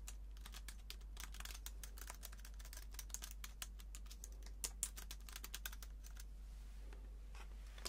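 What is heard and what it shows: Fingertips type rapidly on the low-profile plastic keys of a slim white keyboard held in one hand. The result is a fast, continuous stream of light, bright clicks over a steady low hum.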